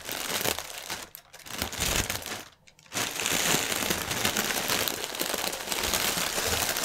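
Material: Plastic film.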